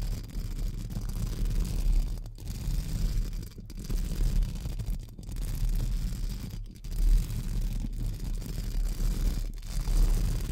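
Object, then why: Metal mesh microphone grille brushed with small bristle brushes. Pink spoolie brushes scratch along the sides of a hollow metal mesh microphone grille, with fingertips held close to the mesh. A continuous low, rumbling scratching fills the clip, nearly all of its energy below 200 Hz. It is broken by brief quiet gaps every second or so as the strokes change.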